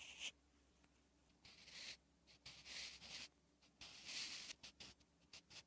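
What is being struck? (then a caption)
Graphite pencil on a paper notebook page. A sharpened wooden graphite pencil is drawn across a thin lined page of a spiral notebook lying flat, writing Korean letters. Bright, dry scratching strokes come in short bursts separated by quiet pauses, with almost no low end.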